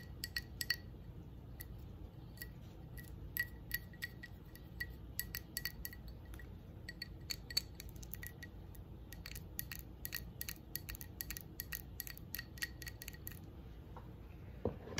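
A red textured glass candle jar with a lit candle inside is tapped and scratched with long nails. Quick, bright glassy clinks and ticks ring briefly over a low, steady background hum, and the tapping stops shortly before the end.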